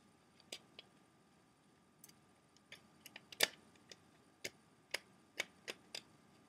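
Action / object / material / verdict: tap / plastic CD jewel case tray / hard plastic / none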